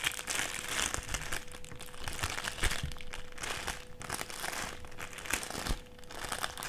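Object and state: Clear plastic sheet being crinkled.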